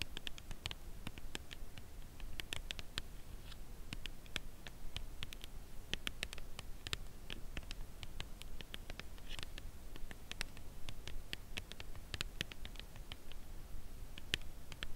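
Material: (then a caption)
Cardboard. Long acrylic nails tap on the corner and edge of a dark brown Lindt Creation Caramel cardboard box holding a chocolate bar. A steady stream of quick, dry, bright clicks dies away almost instantly over a low, constant rumble. The tapping stays soft and even throughout.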